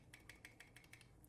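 A KWA KR-12 airsoft gearbox with metal gears, closed with only its factory gears and shims, is shaken to check the original shimming, producing nine quick, bright metallic rattles. The rattle reveals play in a gear; the sector and spur gears show none, so the loose gear is the bevel gear.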